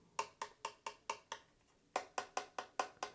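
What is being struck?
Plastic figure wings.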